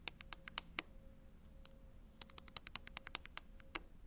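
A dark-handled tool taps and scratches across a sheet of small round grey and white ceramic penny tiles on a white backing, while the other hand holds the sheet. About 21 sharp, bright clicks die away almost instantly. They come in a short burst, then a pause, then a faster run of taps over a faint steady hum.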